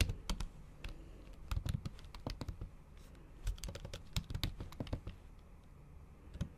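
Slow typing with the tips of long acrylic nails on a MacBook Pro keyboard, whose plastic keys sit under a thin pink patterned silicone cover. The result is an uneven run of short, muffled taps, mostly a soft low thud with brief bright clicks that die away almost instantly.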